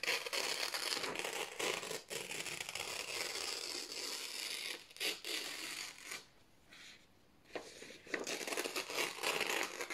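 Both hands slowly tear a strip off thin white printed office paper sheets. The result is a steady, bright, crinkling rip with brief dips along the way and a quiet pause near the end before the tearing picks up again.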